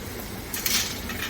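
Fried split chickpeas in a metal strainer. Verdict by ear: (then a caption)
Crispy. Fried chana dal (split chickpeas) is moved in a pan or strainer, giving a short, bright, high-pitched clinking rattle that swells mid-clip over a low background hiss. The crisp clinking shows the dal has turned completely crispy.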